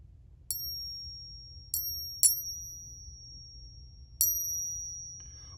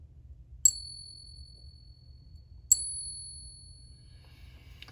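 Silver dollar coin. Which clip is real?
The second.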